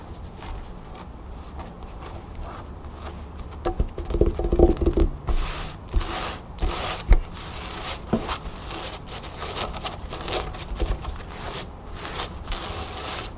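A cream cotton canvas fabric pouch with a blue crown print, resting on a table, is scratched and rubbed with long nails and fingertips. It makes soft, dry scratching and rubbing textures with louder bursts of scraping around the middle, over a steady low background.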